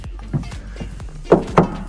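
A hand knocks on a blue plastic float barrel under a work barge to check for leaked-in water: one light knock followed by two louder, short hollow thuds with a mid-low tone and almost no ring. The barrel sounds empty with no water inside, its pitch slightly different from the other barrels.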